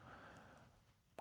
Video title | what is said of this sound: XTZ Cinema Sub 2x12 Edge: Der beste Subwoofer unter 2.000 €? | Knock on it and it sounds completely dead. Which is exactly how it should be.